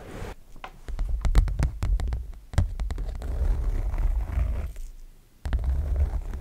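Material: Canvas.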